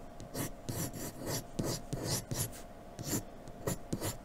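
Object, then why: Pencil on drawing paper. A graphite pencil in a blue holder scratches quick strokes across a sheet of flat white drawing paper lying on a dark table. Short, bright rasping strokes come in bursts over a soft low rumble.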